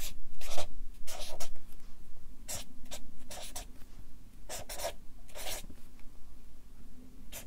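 A Sharpie marker writes a line of text on a stack of white paper on a clipboard. Its felt tip scratches and rubs across the sheets in short, bright strokes, with brief pauses between them over a low, steady background hum.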